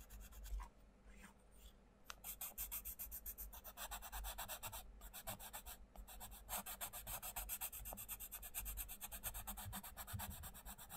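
The sharpened tip of a wooden coloured pencil colours on the page of an open paperback colouring book lying flat on a wooden table, while one hand steadies the page. It makes continuous, rapid scratching and rubbing strokes with a bright, papery rasp over a faint low hum. Brief pauses break the strokes near the start.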